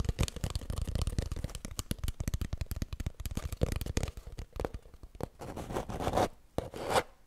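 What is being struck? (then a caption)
Cardboard tube. Long nails scratch quickly along an empty, hollow cardboard kitchen roll tube held horizontally. For the first four seconds there is a rapid, dense run of dry, hollow, low-heavy clicks and scratches. These thin out into separate scrapes and longer, brighter rubbing strokes toward the end.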